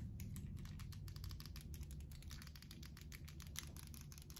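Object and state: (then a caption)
Plastic handheld game console. Fingertips tap and handle the shell and hinge of a closed, small, hollow dark-blue plastic flip handheld game console. A quick, steady run of light, dry clicks with bright edges sits over a constant low rumble, each tap dying away almost instantly. The overall level stays quiet throughout.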